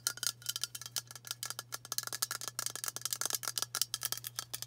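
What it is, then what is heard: Aluminium aerosol can. Long matte nails tap fast along a hand-sized, hollow aluminium White Dove dry spray antiperspirant can. About two dozen quick, bright, clicky ticks sound in an uneven run, each dying away almost at once with almost no low end. A faint steady low hum sits underneath.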